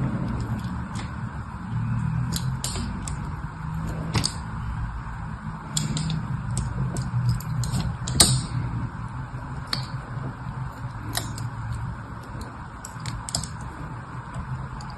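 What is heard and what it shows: A hand holds a solid red, palm-sized rectangular soap bar steady in a grid of other soap bars while the other hand scratches and carves lines into its surface with a thin needle or pin tip. Irregular, sharp, bright scratching ticks and scrapes come over a steady low hum.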